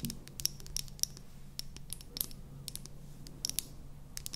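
A small, light-green, hollow plastic mascara tube is held in both hands and tapped and scratched with long painted nails. Quick, bright clicks and dry scratching sounds come in irregular bursts over a faint low hum. The taps stop dead with no ring.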